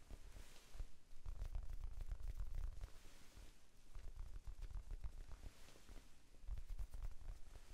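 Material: Foam.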